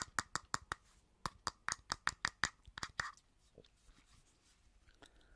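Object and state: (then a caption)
Plastic lotion bottle. Long painted nails tap a hollow, medium-sized cylindrical white lotion bottle with a gold band, probably plastic, held in the hand. A quick, slightly uneven run of sharp, bright clicks with a short hollow ring gives way after about three seconds to faint, soft scratching on the bottle.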